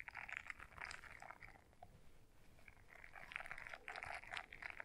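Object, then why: Silicone scrubber brush. Long nails scratch the bristles of a small blue silicone scrubber brush folded in half. The result is quiet, dense, bright scratchy rustling that comes in uneven bursts, with a midrange focus and little low end.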